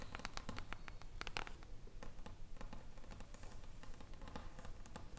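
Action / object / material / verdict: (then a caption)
tap / hardcover book with foil cover / foil, board / none. Long acrylic nails and fingertips tap and scratch the silver reflective foil cover of an upright hardcover book. Quick, irregular crisp clicks and scratchy swipes come over a steady low rumble, with each tap dying away almost at once.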